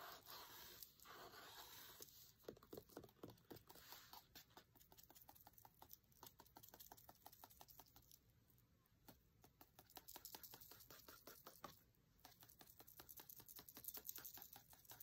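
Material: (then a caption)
Paper. The tip of a thin wooden skewer taps and scratches quickly on a printed page of an open paper cookbook. Rapid, irregular, quiet dry clicks and scratchy rustles fill the clip, each dying almost instantly, with a bright papery hiss over a faint low background.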